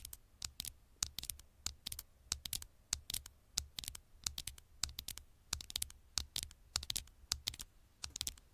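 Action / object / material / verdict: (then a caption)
tap / smartphone glass screen / glass / none. Long nails tap rapidly on the black glass screen of a small smartphone lying face up. The result is a quick, irregular run of sharp, bright clicks that sound like keyboard typing, each one stopping almost instantly, over a faint low hum.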